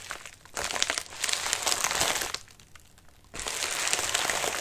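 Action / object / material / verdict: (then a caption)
scrape / padded paper mailer / paper / none. Fingertips and nails scratch the wrinkled surface of a medium white padded mailer resting on a lap. Bright, dense crinkling and rustling comes in bursts, drops to a near-quiet pause for about a second, then resumes steadily to the end.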